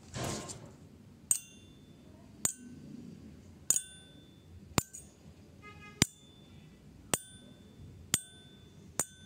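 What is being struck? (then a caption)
Metal tuning fork. A metal tuning fork is tapped eight times, each tap giving a sharp, bright metallic ping with a brief high ringing tone over a low background hum, after a short noisy burst at the start. Struck and held near the ear, the fork rings because its prongs vibrate, and the vibration can be felt by touching them.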